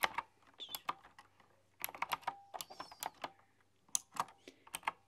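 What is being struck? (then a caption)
Computer keyboard with round metal-rimmed keycaps. Long dark-polished nails and fingertips tap and type on a full-size typewriter-style computer keyboard with round, chrome-rimmed, hollow keycaps. About sixteen sharp, bright clacks come in quick uneven bursts with short pauses between them, each with a brief hollow ring and almost no low end.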